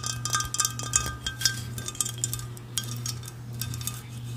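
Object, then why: Ceramic mug. An empty, hollow, orange pumpkin-shaped ceramic mug is held in the hands and tapped repeatedly with long red nails. The taps give a quick run of bright, short clinks with a faint chime-like ring, over a steady low hum.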